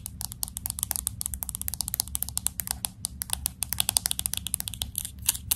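Fingernails tap rapidly on the glass back and around the camera bump of a pink smartphone with an aluminum frame. A fast, uneven stream of sharp, bright clicks dies away almost instantly over a steady low hum.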